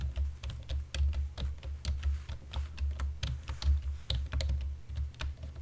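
Fingertips and nails of both hands type steadily on a black plastic computer keyboard, producing a fast run of short, crisp key clicks with bright tops. A steady low hum sits underneath the clicking throughout.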